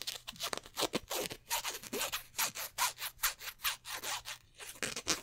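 Fingertips and nails scratch and rub over a black polyester basketball jersey with stitched twill numbers, held up close, moving across the fabric and the raised number patches. A rapid, uneven series of short, dry, bright scratchy strokes follows, each fading almost at once with little low end.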